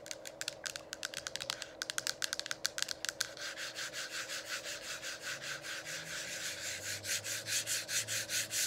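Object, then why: Plastic diffuser dome cover. Long acrylic nails tap and rub on the hollow, lit plastic diffuser dome cover. The first few seconds bring quick, sharp, bright clicks, which give way to steady rhythmic scratchy strokes with a faint constant hum underneath.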